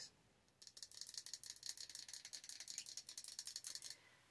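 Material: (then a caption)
Glass. Long orange nails tap rapidly on the glass side of a large glass jar candle filled with solid wax. About twenty quick, dry, bright clicks, with almost no low end and no ring, run from just after half a second to nearly four seconds. The taps then stop and leave faint quiet hiss.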